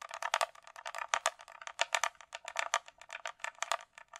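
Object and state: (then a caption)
Hard plastic glasses case. Long nails tap and scratch along the sides of a closed, hollow hard-shell glasses case with a glossy coated shell, likely plastic. About 28 quick, dry clicks and scrapes come in an uneven run, each bright and midrange with no low end. Each stops almost instantly with no ringing.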